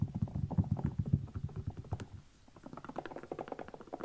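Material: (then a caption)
Rubber. A small kids' canvas sneaker is turned over to show its patterned rubber sole, and fingertips and nails scratch and tap across it. Quick, dull, low taps and rubbing come in a dense, uneven patter, pause briefly just past two seconds, then resume as lighter, slightly brighter taps.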